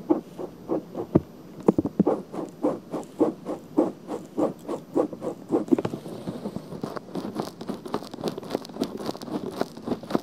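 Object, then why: Silicone ear cover of a binaural microphone. Long painted fingernails scratch around the rim of a pink soft silicone ear with a hollow ear canal, mounted on a black binaural microphone. The scratches come as a steady run of short, muffled rasping strokes in the low-mids, growing quicker and denser after about six seconds.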